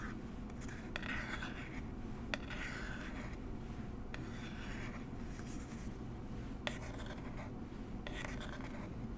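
Long nails scratch and tap a small, hollow, rectangular blue and orange cardboard box of Coola SPF 30 held in the hands. Soft, dry scratching strokes come in short bursts, broken by a few sharp, bright clicks from the nail taps. A steady low background hiss runs underneath.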